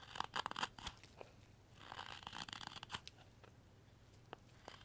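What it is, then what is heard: Wood block being whittled. A solid, light wooden carving blank is whittled with a steel knife blade in short slicing strokes. The crisp, dry shaving and crunching sounds come in quick, irregular bursts with a bright edge. The cuts are quiet and close, and a few sharper isolated clicks sound as the strokes thin out toward the end.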